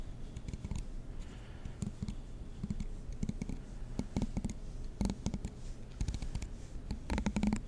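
A black plastic comb is held near the mic while a fingernail strums its teeth. The result is a series of dry, rapid clicks and ticks with a low, muffled body around 215 Hz and faint bright edges, each dying away almost at once.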